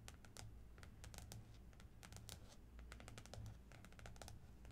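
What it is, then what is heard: Plastic-covered spiral notebook. Long nails on both hands tap and scratch across the glossy plastic floral cover of a small spiral notebook lying flat on a blue cloth. Rapid, light, bright clicks and scratches come in quick bursts over a quiet, steady low hum.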